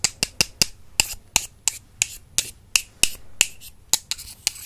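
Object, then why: Slim wooden brush handles tapped together. Two slim, solid wooden makeup brush handles are tapped together with the fingertips, which have long purple nails. About fifteen short, dry, bright clicks sound at an uneven pace, each dying away almost at once with very little low end.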